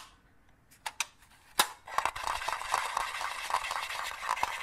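A green, palm-sized hollow plastic crocodile dentist toy with white teeth is held in both hands and tapped and clicked with the fingertips and nails. A few sharp, separate clicks come first, then a dense, continuous patter of bright plastic tapping and scratching with short, dry hits that do not ring.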